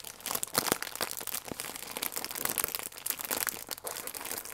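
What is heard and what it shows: A plastic film croissant wrapper, bunched around the croissant, is scrunched and crinkled in both hands. The result is a continuous, bright, crackly crinkling, dense with sharp little snaps and pops, steady for the whole clip with almost no low end.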